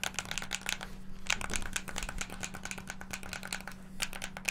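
Fingertips rapidly press the face buttons and sticks of a hand-sized, hollow black plastic Xbox controller. The result is a dense stream of fast, bright plastic clicks and rattling taps with almost no ring, peaking around 2.6 kHz. A steady low hum runs underneath.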